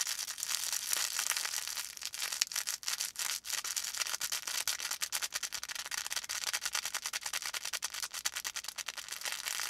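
A felt volcano plush with a faux fur top is held in both hands while fingertips rub and squeeze the felt. The result is a dense, bright, scratchy rustle with rapid flutter and almost no low end.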